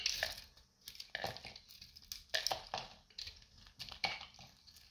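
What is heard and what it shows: A metal utility knife blade shaves a solid, hand-sized, light blue dried soap bar with a dark varnish-like coating, peeling off brittle flakes. Repeated bright, crunchy scraping strokes crackle in short bursts, with almost no low end and quiet pauses between them.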